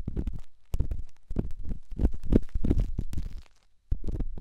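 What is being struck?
Rough stone against silicone.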